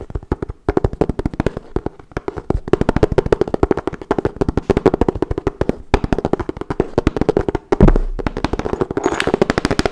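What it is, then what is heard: Hollow wooden folding chess board. Fingernails rapidly tap the checkered surface of a hollow wooden folding chess board held up flat, producing a dense stream of dry, clicky taps with a hollow midrange knock. The taps continue for the whole clip, with a few brief pauses and a slightly louder, brighter flurry near the end.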